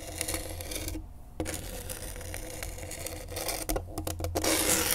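A pen tip held in a gloved hand rasps across the coarse grip tape on a skateboard deck. Irregular, gritty scraping strokes carry a bright, hissy texture over a steady low hum, with a brief near-silent gap around the one-second mark. The rasping grows louder and denser toward the end.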